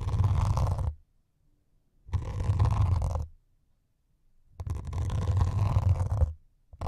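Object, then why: Melamine foam sponge. Two thin metal needles held in the fingertips scratch and poke the grey scouring foam top of a rectangular white melamine foam sponge, solid and soft, held against the microphone windscreens. Three bursts of dense, crackling scratching are heard, each about a second long, with a heavy low rumble and a bright hiss, separated by near-silent pauses.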